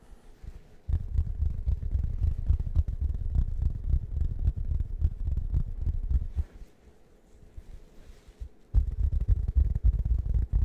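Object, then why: Fabric-covered foam cushion. A round, plush waffle-print cushion of fabric over foam is held against the microphone and scratched with fingertips. The result is a dense, low, muffled rumbling scratch. It runs steadily from about one second to six and a half seconds, drops to a quiet lull, then resumes strongly near the end.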